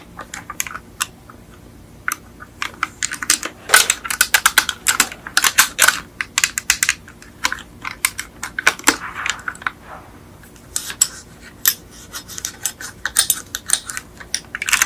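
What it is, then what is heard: Die-cast metal toy car tapped with nails. Long acrylic nails tap rapidly and irregularly on a small yellow die-cast Beetle model with a hollow metal body, making sharp, bright clicks with very short ring and brief pauses between bursts. At the end, the car's front hood is lifted.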